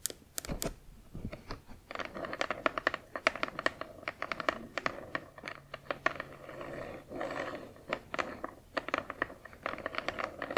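Long acrylic nails tap and scratch along the narrow side edge of a hollow, printed cardboard Spirograph box. Quick, dry clicking taps in an uneven rapid series are mixed with brief papery scratching strokes along the side panel, centered in a hollow midrange with bright tips on each tap.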